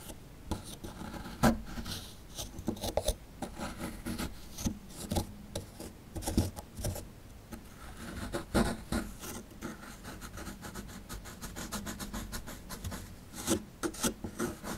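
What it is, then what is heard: Plaster fossil dig block. A chisel scrapes and chips at a small, solid plaster fossil dig block held in hand, knocking loose crumbs free. Dry, raspy scraping alternates with sharp, irregular clicks and chips, each short and dead with no ring.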